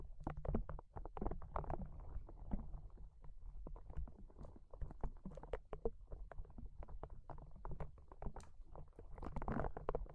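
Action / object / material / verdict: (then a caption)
scrape / soft rubber spiky ball / rubber / none. A small, hollow, yellow-green soft rubber spiky sensory ball is held in one hand and squeezed repeatedly with the fingers. The result is a dense run of soft, low squishes and muffled rubbery pops, with a faint squeak now and then over a steady low rumble.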